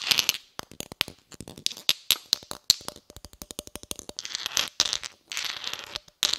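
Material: Cast iron.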